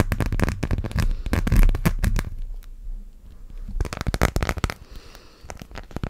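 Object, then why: Clear plastic phone case. Fingernails rapidly tap and scratch a transparent plastic phone case, a thin hollow shell decorated with colourful gummy-bear charms. Fast, irregular clicky taps with a low, hollow thump come in two dense bursts, separated by a quieter stretch of light scratching.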